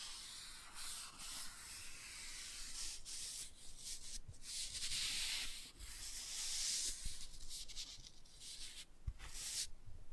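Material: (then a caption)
Laminated cardboard. A black toothbrush brushes and scrubs the glossy cover of a laminated cardboard board book held upright. The result is a continuous, bright, hissy scratching in uneven strokes that swell and fade, with occasional faint low taps beneath.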